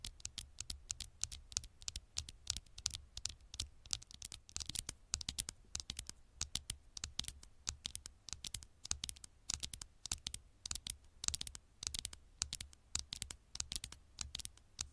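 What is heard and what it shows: Long nails tap and scratch the black glass screen of a small smartphone held screen side up close to the microphone. The result is a rapid, uneven run of sharp, bright clicks and scratchy swipes that die away almost instantly, over a faint low hum.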